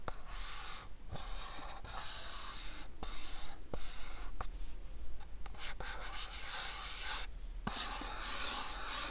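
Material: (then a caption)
Cardboard. A fingertip and nail rub and scratch across a house-shaped cardboard gift box, making a steady dry, bright scraping hiss over a faint low hum. Brief quiet gaps and a few sharp little ticks break up the rubbing as the strokes change.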